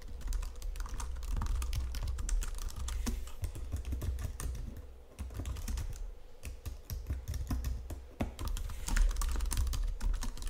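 Fingertips and nails type steadily on a white plastic Logitech keyboard resting on marble, making a dense stream of short, sharp clicking taps over a constant low hum. The keystrokes come quick and uneven, with brief bright clicks from the key presses.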